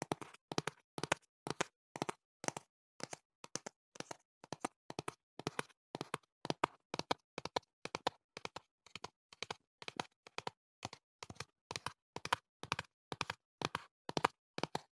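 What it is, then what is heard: Fingertip tapping on a cardboard box. A slim, hand-sized, hollow printed cardboard product box with a black back side is held behind and beside the microphone and tapped with the fingertips. Quick clusters of dry, hollow taps repeat steadily through the clip, each one short and dying away at once with no ring.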